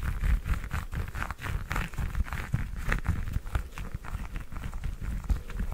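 Long nails tap and scratch the peel of a whole fresh orange held in the hand. A quick run of soft, dull taps sounds with a faint scratchy rasp. The sound is close and weighted to low, muffled thumps.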